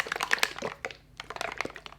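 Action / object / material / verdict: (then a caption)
shake / plastic bottle of liquid sunscreen / plastic / thin. A plastic bottle of La Roche-Posay Anthelios Invisible Fluid sunscreen is shaken before application, as its directions instruct. Quick, bright sloshing splashes with sharp clicky transients come in bursts, with a brief quiet gap midway. The contents sound liquidy, and the sunscreen proves very runny.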